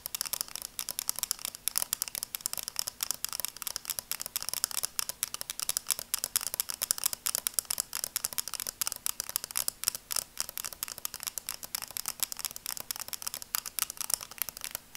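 Long dark nails tap and scratch the frame of a pair of red and black plastic-framed sunglasses held in both hands. The result is a quiet, steady stream of rapid, bright clicks and scratchy ticks with almost no low end. Each sound stops dead, with no ring, over a faint low hum.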